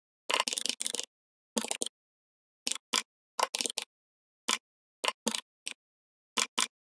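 Fingertips type on the plastic keycaps of a full-size, red-backlit plastic membrane gaming keyboard in irregular bursts separated by silence. The short, dry clatter is bright with almost no low end, starting with a busy run of taps and then thinning into scattered pairs and single presses.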